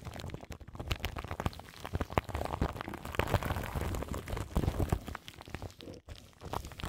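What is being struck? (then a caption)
Microphone wrapped in plastic film. Long nails scratch the crinkly plastic film wrapped around a large microphone's grille. The result is a dense, continuous stream of close crackles and rustles with a heavy, muffled low-end rumble, and a brief drop to near silence just before the sixth second.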